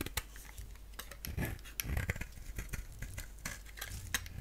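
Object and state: Bar soap being shaved.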